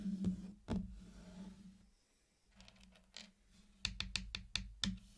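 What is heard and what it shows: Fingertips set down on small, round, hard-shelled candy-coated chocolate pieces laid in a hexagon pattern on a black surface, tapping the red candies around the edge. After some soft rustling, eight sharp, bright clicks sound, most of them bunched close together near the end, over a faint low hum.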